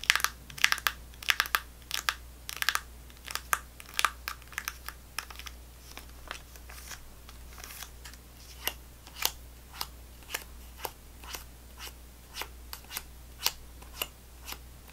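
A full GoGo Squeez laminated plastic foil apple sauce pouch, held upright, is scratched and squeezed with fingernails. Sharp, bright crinkling clicks come in a quick cluster at first, then space out into steady single taps. Each tap dies away almost instantly over a faint low hum.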